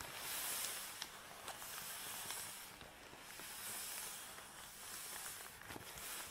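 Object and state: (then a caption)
Nylon tripod bag being scratched. Fingertips and long nails scratch and rub a long black nylon drawstring bag holding a folded tripod as it lies on a table. A soft, bright hiss swells and fades in slow waves, broken by a few faint sharp ticks.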